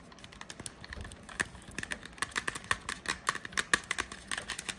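A medium-sized Febreze Air Mist spray can, with a hollow aluminum/metal body and a plastic cap, is held in hand and tapped and scratched with long painted nails. A rapid, dense series of sharp clicky taps mixes with scratchy rasps. Each tap has a brief hollow metallic ping around 1.7 kHz that dies away almost instantly.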